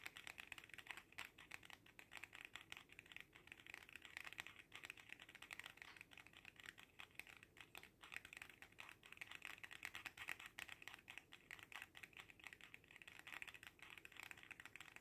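A small red faux leather cat coin purse is held in both hands and tapped quickly with the fingertips. The result is a quiet, continuous stream of crisp, bright, clicky taps with almost no low end and a very short decay, resembling fast keyboard typing.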